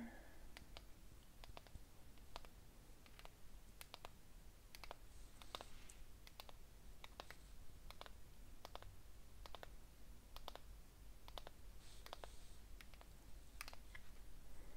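Long fingernails tap and click against the sides of a small, unlit patterned ceramic cup filled with candle wax, held in the hands. Many short, bright clicks with almost no ring are spread over a low steady background hum, with some faint speech.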